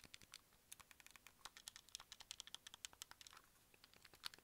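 A white, hand-sized, hollow hard-plastic Wii remote with buttons and a wrist strap is held and tapped with fingertips and nails. The result is about thirty quick, dry, bright clicks and taps at irregular pace, with almost no low end and no ring after each hit.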